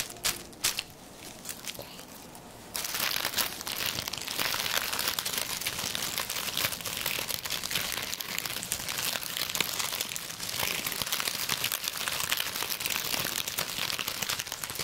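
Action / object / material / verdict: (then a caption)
scrape / dried sage bundle / dried leaves / none. A bundle of dried sage stems with narrow, brittle leaves is grasped and rubbed between fingertips, producing dry, high-pitched crinkling. A few sparse crackles come first, then about three seconds in it turns into steady, dense crinkling and crunching that lasts to the end.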